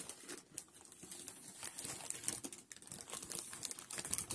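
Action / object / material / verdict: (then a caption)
scrape / polyethylene plastic mailer bag / plastic film / none. Gloved fingertips hold and handle a gray-white Amazon polyethylene mailer bag, about shoebox size with a box inside, crinkling its plastic surface. The result is a quiet, dense run of bright, crisp crinkles and sharp crackles that sit mostly in the high range, with very little low end and no ring after each snap.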